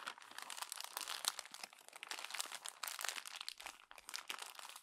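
A hand squeezes and crumples the pages of a glossy paper magazine into a wad, producing a dense, continuous run of sharp, bright crackles and crinkles with almost no low end. The crackling keeps up for the whole clip, with the pops dying away almost instantly.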